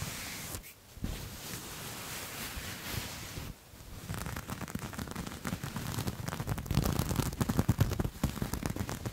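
A soft grey fabric piece with a dotted, waffle-like knit texture is bunched in one hand and scratched with the fingertips and nails of the other right next to the microphone. It makes a steady, low, breathy rustling with brief pauses, then turns into denser, rapid scratching that grows louder and more textured toward the end.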